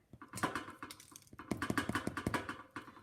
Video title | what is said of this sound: Basic Bread Recipe | turn them over and tap the bottom and it should sound hollow. They sound ready to me